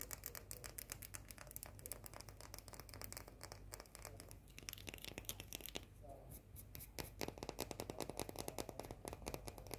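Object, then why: Small round cookie with white chocolate coating. A small round cookie with a white chocolate coating is tapped and scratched with long painted nails. Dozens of fast, sharp, bright clicks come in quick bursts over a steady low hum, with dry scratching between the taps. The taps die away almost instantly with no ring.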